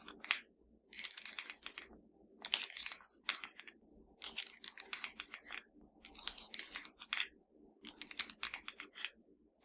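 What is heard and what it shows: A slim, hollow black plastic Fire TV remote is held in one hand and tapped and scratched with the long nails of the other hand. Bursts of bright, crisp clicking and scratchy rasping come in clusters separated by short quiet gaps. A faint low hum sits underneath.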